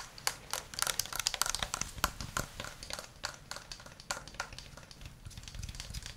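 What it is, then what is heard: Plastic game controller. A white plastic gamepad with a hollow shell is tapped and scratched with the fingernails and then the fingertips while held at different angles. Rapid, crisp clicks and scratchy crackles come in quick, uneven bursts that are bright and dry with almost no ring, and the taps soften slightly toward the end.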